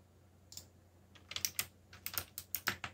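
Fingertips type on a backlit mechanical keyboard with black plastic keycaps, producing about nine sharp, bright clicks that start sparse and then come in quicker bursts. Each keystroke snaps off almost instantly, with a faint low hum running underneath.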